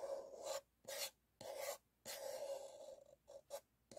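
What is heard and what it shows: A single empty, hollow white paper cup is held and turned in both hands while fingertips and nails rub and scratch its paper wall, with a stack of cups sitting untouched nearby. The result is a series of dry, raspy scratching bursts separated by short pauses, each carrying a hollow resonance around 550 Hz and a bright, hissy top.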